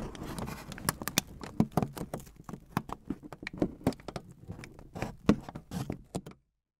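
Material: Aluminum foil.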